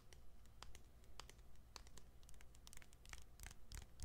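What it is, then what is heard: Plastic phone back, nails scratching and tapping. Fingernails scratch and tap the white plastic back of a smartphone held close to the mic. Quiet, dry, bright clicks and scratchy strokes come in an uneven rhythm, with no ring after each one, over a steady low hum.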